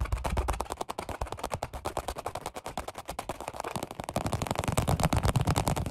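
Both hands tap their fingertips rapidly on a black padded workout bench seat with a red stripe, made of vinyl over foam. The result is a fast, uneven stream of short, dull, muffled thuds with deep low body and little brightness, each dying away almost instantly. The tapping grows louder and fuller in the last couple of seconds.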